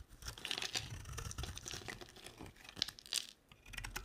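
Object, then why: Bar of soap scraped with a blade. A utility knife blade scrapes flakes off a solid, dry, pink and white two-layer soap bar held in the hand. It makes quick, dry, bright scraping and crunching sounds, with several sharper crisp bursts between softer stretches. Each stroke stops with almost no ring.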